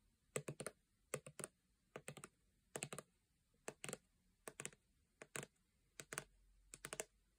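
Long painted nails tap a full-looking 400 ml gold plastic body lotion bottle held upright. The quiet, dry clicks come in quick bursts of about three taps, with short pauses between bursts. Each tap is bright and dies away almost instantly, with no ring.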